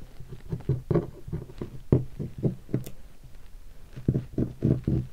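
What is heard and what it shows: Fingertips tap the body section of a hollow guitar hard case covered in black leatherette and stickers. A series of soft, dull, low thuds follows in an uneven rhythm, each one short and dying away almost at once with no bright ring, with a brief pause before the last few taps.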